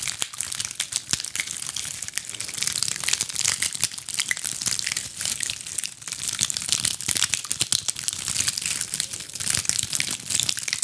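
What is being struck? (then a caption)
Ball of small dried pine cones. A fist-sized ball of small dried pine cones, held in both hands, is scratched with long acrylic nails. A dense, bright, crackling scratch runs steadily throughout, made of rapid dry clicks and crinkles with almost no low end.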